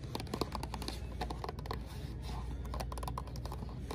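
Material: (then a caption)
Cardboard. Long acrylic nails rapidly tap and scratch a small, hollow green Aveeno cardboard box with a product inside, held in the hand. The result is a dense run of short, dry clicks mixed with scratchy rasps over a steady low-frequency background hum.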